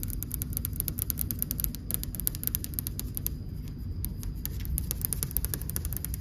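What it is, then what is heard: Marble wall. Long, dark-painted almond-shaped nails tap quickly against a flat, solid white marble wall with grey-beige veining, with occasional taps on the camera mixed in. The rapid taps come through as short, dry, bright clicks with almost no ring, over a steady low hum and rumble that fills the lo-fi sound.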